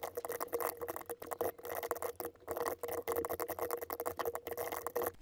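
A compact RGB mechanical keyboard with white and pink plastic keycaps is typed on with the fingertips of both hands. It produces a steady stream of short, crisp key taps with a faint tone near 480 Hz. The taps come in quick runs broken by brief pauses.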